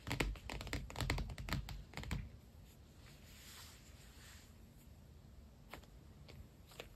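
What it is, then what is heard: Faux leather planner cover. Fingertips tap and scratch the glossy padded cover of an iridescent holographic PU leather binder planner lying flat. A quick, uneven run of soft, low thuddy taps with crisp clicky edges fills the first two seconds. It then gives way to a faint, steady scratching rustle, broken by a couple of light taps near the end.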